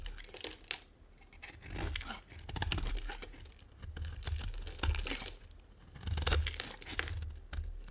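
A metal blade scrapes and carves curls off a solid, dry, brown and white striped bar of soap held in the hand. Dry, crackling scrapes with a bright, papery edge rise and fall in bursts over a low rumble, with brief quieter pauses between strokes.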